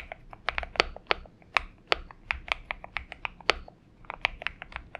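Fingertip typing with both hands on a purple Xinmeng M71 mechanical keyboard with PBT keycaps produces a quick run of short, bright clicks and clacks. The taps land at an uneven typing pace, with a few louder strikes among softer ones, and each one stops almost instantly.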